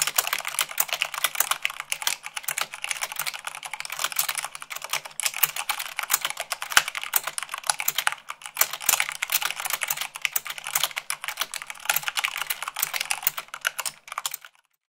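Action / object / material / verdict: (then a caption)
tap / mechanical keyboard with plastic keycaps / plastic / none. Both hands, with short pink-painted nails and a bandage on one finger, type fast on a full-size mechanical keyboard with white plastic keycaps on a black frame, at about 98 words per minute. It makes a rapid, steady stream of short, bright plastic clicks and clacks with almost no low end and no ring after each press. The typing runs evenly for about 15 seconds before stopping at the end.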